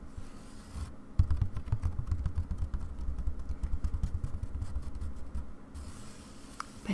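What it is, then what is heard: Embroidery hoop with taut fabric. Long dark-painted nails tap and scratch the taut white aida cloth stretched tight across a round wooden embroidery hoop lying flat on a table. The result is a quiet, irregular stream of soft, dull, low-pitched drum-like thumps with light scratchy ticks layered over them. A sharper tap stands out near the start.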